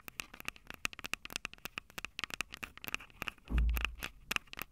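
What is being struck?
Handheld recorder's metal mic capsules tapped with fingernails.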